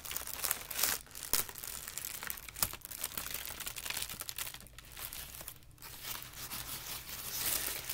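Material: Paper.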